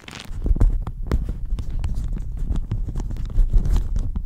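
A thin pink-and-white floral plastic shower cap, hollow and empty and stretched over the microphone, is scratched and squeezed with long manicured fingernails and fingertips. It makes dense, continuous crinkling with rapid scratchy bursts. The sound is heavy and close, with a muffled low rumble.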